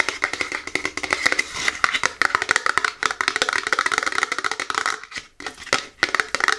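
Long natural nails and fingertips rapidly tap and scratch the sides of a small, tall, hollow printed cardboard box for a Seche Vite nail product, held upright in both hands. The result is a dense stream of dry, bright clicks with no ring, plus a light scratchy rustle between them. There is almost no low end, and a brief pause comes near the five-second mark.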